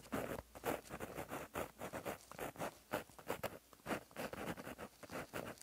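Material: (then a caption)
Paper. A plastic-barrel gel pen with a metal tip, held in the fingers, writes across a flat black lined paper notebook page lying as a solid sheet on a surface. The tip scratches along the paper in a quick run of short, soft, bright strokes and lifts, each stroke fading fast with brief gaps between them.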